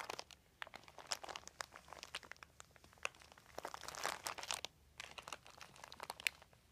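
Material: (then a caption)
Plastic. Fingertips scratch and rub a large, thin, crumpled white plastic sheet. Dense, quiet crinkles and sharp crackles follow one another, bright and concentrated around 2.4 kHz, with almost no low end. Each snap dies away instantly, and a busier swell of crackling builds near the middle before thinning out again.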